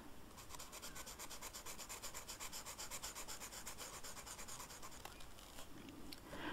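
The felt tip of a red marker scratches across a flat black velvet-flocked paper coloring sheet in short coloring strokes. It makes a steady run of quick, soft, bright rasping rubs, about two to three per second. The strokes thin out near the end with a brief louder scuff.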